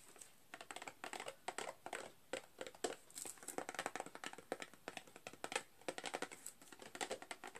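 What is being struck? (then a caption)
Cardboard box with a plastic window. Fingernails tap along the face and sides of a small rectangular printed cardboard box with a clear plastic window, full with 12 candy canes, first while it is held flat and then stood on its edge. The result is a quiet, rapid stream of dry, clicky taps in uneven bursts, with a thin papery body and a bright crinkly edge from the plastic. Each tap dies away almost instantly.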